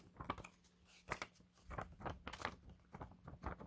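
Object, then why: Paper banknote. A thin, flat Hong Kong Chartered Bank ten-dollar paper note is flicked and snapped by the fingers above other banknotes on a table to show its crispness. A quick series of sharp, papery snaps and crackles, bright and dry with almost no ring, rises over a faint steady low hum.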